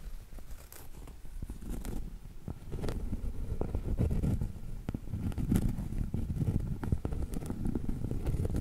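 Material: Cork.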